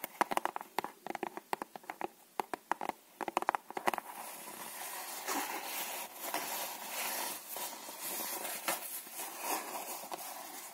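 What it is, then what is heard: Cardboard playing card box. A small red Dal Negro cardboard playing card box, held in both hands, is tapped with long manicured nails, giving a quick run of sharp, dry, papery clicks for about four seconds. The box is then handled near the lid, producing a steady, soft scratchy rustle with gentle swells and no low end until the clip ends.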